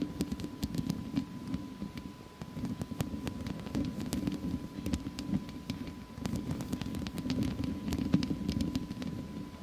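Long fake nails on both hands scratch the hollow metal mesh head of a studio microphone, staying on the grille throughout. The result is a dense, continuous low rasping scratch, dotted with many brief, bright clicks and a faint steady tone underneath.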